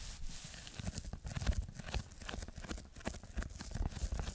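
Fingertips scratch and tap a red textured foam sheet as it is held at different angles. The result is a dense run of soft, dull low thumps mixed with dry, scratchy crackles and rustles, each burst short with almost no ring.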